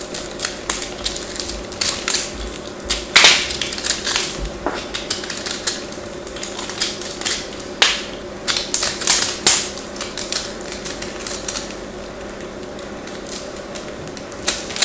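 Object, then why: Bar of soap shaved with a craft blade. A craft knife blade shaves and scrapes a small, hand-held chunk of solid white bar soap with a crosshatched surface. The result is a dense run of bright, crisp clicking and scraping ticks with a faint steady hum underneath.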